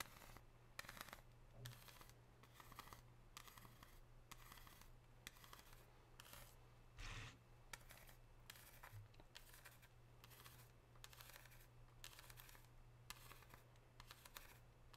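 Long pink nails scratch the surface of an unwrapped solid 99% dark chocolate bar with a diagonal-line pattern, leaving chocolate under the nails. Quick, bright, dry scratching strokes repeat over a steady low hum.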